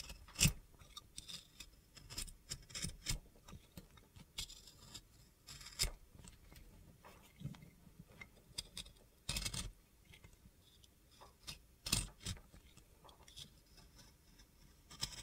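A box cutter blade scrapes the glitter coating off an oval blue glitter bar of soap. Quiet, gritty scraping runs throughout, broken by sharp, bright crunching bursts of varying loudness.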